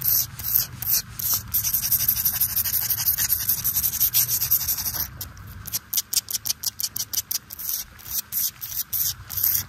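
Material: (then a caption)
Stone. Fingertips and nails rub and scratch a large, flat, solid flagstone slab that lies on mulch and is wet from rain. A bright, hissy scraping runs almost continuously for the first half, then breaks into quick, separate strokes with short pauses between them. Faint rain may be heard underneath.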